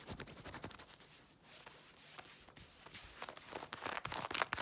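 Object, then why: Denim jeans. Long red-painted nails scratch and rub fast across light-blue denim jeans being worn over the leg. The clip is a quiet, irregular run of quick, bright, raspy scrapes and softer rubbing swishes, with no ring after each stroke. The scratching grows louder and denser toward the end.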